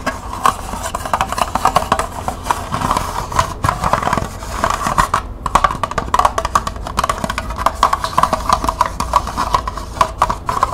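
Long nails tap rapidly on the flat base and side of a small, hollow, empty green plastic cup held sideways. The result is a dense, continuous stream of quick, dry, hollow clicks with a woody tone centered around 1 kHz. Each tap dies away almost instantly.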